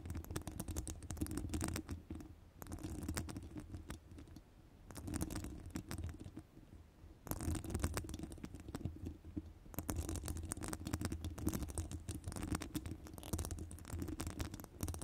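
Long nails rapidly scratch the sides of a hollow metal wire-mesh microphone grille. The result is dense, rumbling scratches, heavy in the low end, with crisp, bright ticks on top. They come in bursts separated by brief, quieter lulls.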